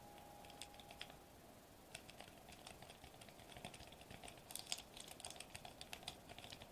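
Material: Foil plastic.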